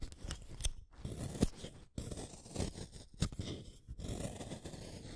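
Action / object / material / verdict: scrape / wooden colored pencil shaved with a blade / wood / none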